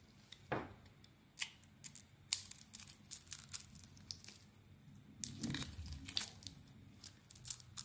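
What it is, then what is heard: Bar of soap being carved. A solid, hand-sized white rectangular bar of Nature Box soap with red lettering is held in one hand and shaved with a utility knife blade. The scraping carves off flakes in a steady run of short, bright, crisp scratches and crunchy rasps, with a brief low, softer rub in the middle. The strokes are quiet, dry and close, with almost no ring after each cut.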